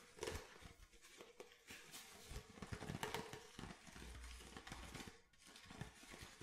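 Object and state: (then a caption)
Plastic water bottle. Fingernails tap an empty clear plastic water bottle with a blue cap, moving across its body, cap and bottom. The taps are quiet, short and hollow, with a light plastic ring around 430 Hz, brief bright clicks and a soft low rumble between them.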